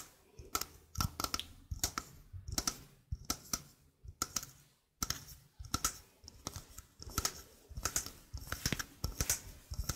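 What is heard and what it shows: A small hollow stainless steel mesh sink strainer is held in both hands while fingernails tap and scratch its mesh. The result is a quick run of crisp, dry clicks and scratchy ticks with bright metallic tinkle. Each hit stops almost at once, with soft low thumps underneath.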